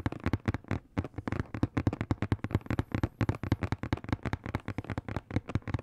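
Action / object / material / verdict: tap / cardboard box / cardboard / none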